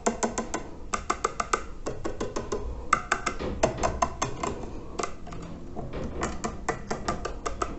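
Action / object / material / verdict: scrape / terracotta water filter / unglazed clay / none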